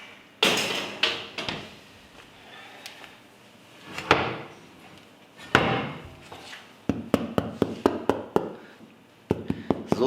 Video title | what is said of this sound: 1 Tasse, 1 Topf, 1 Rezept, dass du nie vergessen wirst! Brot ohne kneten | Tämän pitäisi kuulostaa, kun se on valmis. Sen on kuuluttava ontolta.